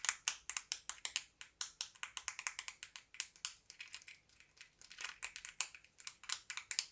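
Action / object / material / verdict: tap / small plastic lip gloss case / plastic / none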